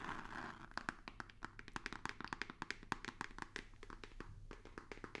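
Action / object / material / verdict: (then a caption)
tap / rigid cardboard box / cardboard / none. A hollow white rigid cardboard box with a small printed logo is tapped with fingertips and nails. A quick, uneven run of dozens of short, dry taps follows, each with a hollow midrange knock and a bright click, dying away almost instantly over a faint low hum.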